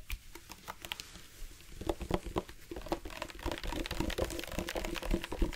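A tall, hollow black plastic drinking bottle with a flip cap is held in both hands and tapped along its body with the fingertips. Sparse, soft, dull taps at first quicken into a dense, uneven patter of short, low-heavy knocks with a light crinkly edge, each dying away almost at once.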